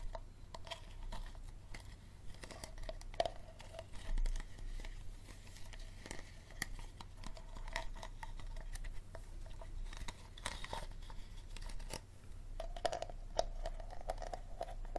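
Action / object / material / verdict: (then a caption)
tap / small plastic water bottle / plastic / none. A small, empty, clear plastic Dasani water bottle is held sideways while fingernails scratch and tap its label and ridged base. Quick, dry clicks and scratchy rustles with a hollow tone sit over a steady low hum throughout.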